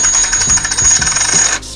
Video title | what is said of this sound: Avoid Fake Silver Eagles! We Show you how! Counterfeit Silver Eagle! | on a legitimate coin it's kind of a lower pitch